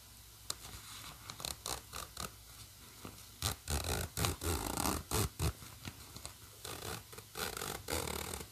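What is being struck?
Nylon fabric bag with plastic coil zipper.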